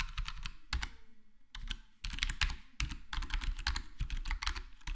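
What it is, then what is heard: Foam-dampened plastic keyboard typing. Fingertips of both hands type on a black plastic full-size HyperX Alloy Core gaming keyboard with square plastic keycaps and a foam-modded, dampened case. The result is a quick, uneven run of soft, muffled keystrokes, each a deep thump with a brief bright tick on top that dies away almost instantly, broken by short pauses.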